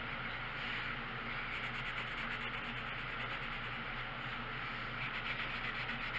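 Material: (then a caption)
Paper. The tip of a green colored pencil rubs in repeated strokes across a thin paper page of a coloring book lying flat on a wooden table while coloring. It makes a steady, bright, scratchy rubbing, with quick back-and-forth strokes coming through as a rapid rasping pulse in two stretches, over a low constant background hum.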